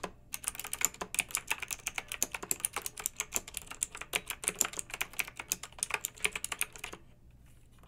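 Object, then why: Plastic mechanical keyboard with metal-rimmed keycaps. Long-nailed fingertips type continuously on a pink backlit, typewriter-style plastic mechanical keyboard with round metal-rimmed keycaps. Quick, crisp, bright clicks and clacks come in an uneven, rapid stream, each keystroke dying away almost at once. The typing stops about a second before the end, leaving only a faint low background hum.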